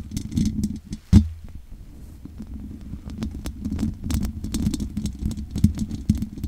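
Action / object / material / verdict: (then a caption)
scrape / metal mesh microphone grille scratched and tapped by fingernails / metal mesh / none. Long nails scratch and tap along the sides of the hollow metal mesh grille of a large condenser microphone. The sound is a dense, low, rumbling scrape with a steady hum-like tone around 210 Hz, broken by quick dry clicks with faint bright ticks. One sharp, louder tap comes just after the first second.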